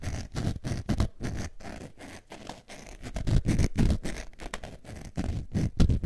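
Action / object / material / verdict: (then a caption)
scrape / faux leather zip wallet / faux leather / none. A beige textured faux leather zip wallet is scratched with long nails in quick, uneven strokes, about four per second. The rasping scrapes come out deep and muffled, heavy in the low end, and each one stops dry with no ring.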